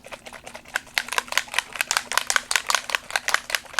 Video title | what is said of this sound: How to Make a Crazy Cat Distress Christmas Card | And you hear that little ball inside mixing the paint